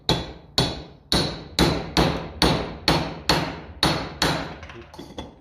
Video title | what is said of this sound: 1954 Ferguson 20 TEF Fuel Filters | the sound then you hear when it's home